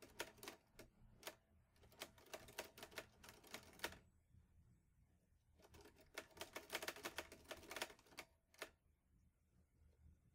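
Fingertips type on the round keys of a mint-green Olivetti Lettera 22 portable manual typewriter with a metal body and paper loaded. Sharp, bright mechanical key and typebar strikes come in two irregular bursts of about 33 strikes, with a brief pause near the middle. Each clack dies away quickly over a faint low hum.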